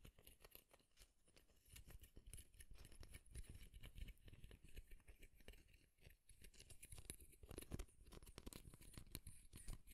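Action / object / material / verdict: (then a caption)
scrape / wooden comb / wood / none. A light wooden comb held close to the microphone has its teeth flicked and scratched by fingernails. The result is a dense, rapid stream of short, dry clicks and scratchy ticks with a full, close low end and a bright crisp edge.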